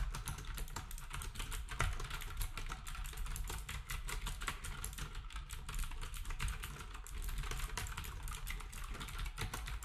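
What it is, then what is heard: Plastic retro keyboard typing. Fingertips of both hands type rapidly on a black wireless typewriter-style keyboard with round plastic keycaps and a hollow housing. A steady, dense stream of quick key taps gives sharp bright clicks over a hollow low thump, each dying away almost at once.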